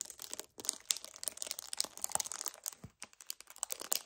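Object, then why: Paperboard drink carton. An empty 1 L white paperboard kefir carton is gripped with both hands while fingernails tap quickly on its front. The result is a dense run of dry, bright clicks and crinkles with almost no low end. Each sound stops instantly, with brief pauses between bursts.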